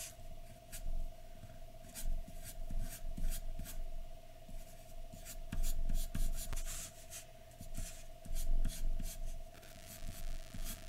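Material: Paper.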